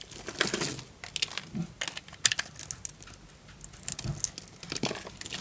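A small knife blade cuts grid lines into a white, solid bar of dry soap held in the hand and chips off small cubes. The result is a series of dry, crisp, bright crunches and scrapes with short crackling bursts that stop sharply and leave no ring.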